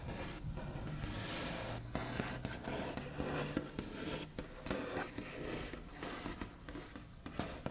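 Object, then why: Painted wooden table top. The backs of medium-length fingernails on both hands tap and trace along a large, solid wooden table top with a smooth white-painted finish. The result is a steady, close, scratchy mix of dry rubbing and light ticking taps, with brief pauses between strokes.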